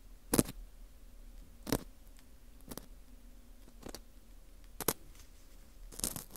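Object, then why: Dried wheat gluten ring (fu) scraped with a thin metal hook. A small, porous dried wheat gluten ring (fu) with a hollow center is held in a gloved hand while its surface and hole are scraped with a thin metal hook. Short, dry scratchy rasps come in separate bursts, each with a bright crackly edge, over a low steady hum. The scrapes are brief and quiet, with no ringing after.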